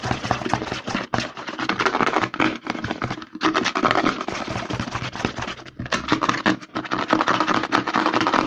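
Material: Plastic.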